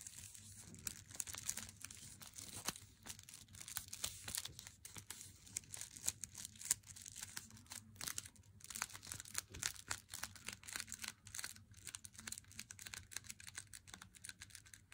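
Fingernails tap along the long edge and face of an unopened, solid Lindt Swiss Classic dark chocolate bar in its glossy paper wrapper, held in hand. A quick, dense run of crisp, bright ticks and crinkles plays over a faint steady low hum. Each tap dies away almost instantly.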